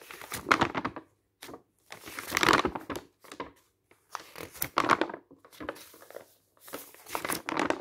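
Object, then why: Glossy paper catalogue pages. Fingertips lift and turn the dark-printed glossy paper pages of a large open catalogue one by one. Each turn makes a bright burst of rustling and crinkling, with short quiet gaps between the bursts.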